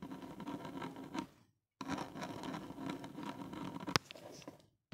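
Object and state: Plastic earphone inline mic housing.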